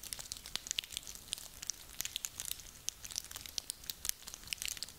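A handful of small, dry, woody pine cones is crunched and rubbed together in the hands. Dense, bright, dry crackles and clicks come in quick irregular bursts over a quiet hiss, with almost no low end. Each snap dies away at once.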